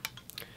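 A metal sai, not wood though its exact metal is uncertain, is lightly tapped. Several quick, bright ticks with almost no ring are heard, the first the loudest, over a faint low hum.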